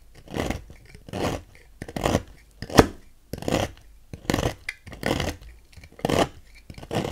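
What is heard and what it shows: A thin metal knife scrapes and carves thin flakes from a dry, solid, palm-sized pink bar of soap held by fingers on a white table, building a growing pile of shavings. The audio is a run of short, rough, rasping scrapes at an uneven pace, each dry and quick-fading and spread across low to bright frequencies.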